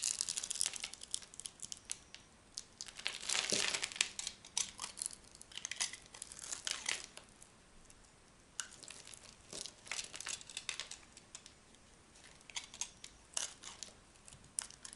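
A small metal knife scrapes and cuts a hand-sized, solid green-and-white striped bar of dry soap held in one hand, dropping green shavings and flakes onto a pile of soap chips. Dense, bright, crisp crackling and crunching come in irregular bursts, with brief quieter pauses between strokes.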